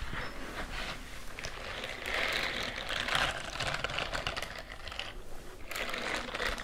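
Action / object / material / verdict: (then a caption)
scrape / silicone scrubbing glove with bristles / silicone / none. A white silicone dish-scrubbing glove with a bristle texture is worn on one hand and held upright near the microphones, while the other hand's fingertips and nails scratch and tap along its bristled palm and fingers. The result is a steady, bright, crinkly scratching with soft taps mixed in, swelling louder in the middle and again near the end.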